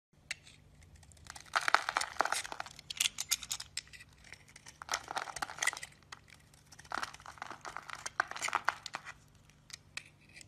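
A solid, rounded yellow bar of soap held in the palm is carved with a blue-handled blade, and crumbly chunks break off. Dry, bright crackling and scraping come in clustered bursts of quick crunchy ticks, separated by short quiet pauses.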